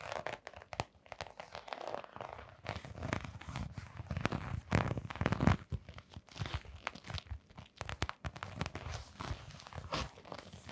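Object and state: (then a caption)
Canvas sneaker with rubber sole. Long painted nails scratch the brown textured rubber sole of a small canvas sneaker with a white rubber rim, held in gloved hands. A steady run of dry, crackly scratches and soft crunching ticks, mostly low and dull with brief brighter clicks, rises and falls in quick bursts throughout.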